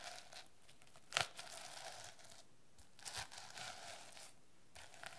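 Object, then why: Plastic sequin notebook cover. Long nails rub and scratch across a plastic sequin-covered notebook cover, flipping the sequins back and forth. Soft, bright crinkling and scratchy rustles come in bursts, with a sharper crackle just after the first second and quiet pauses between strokes.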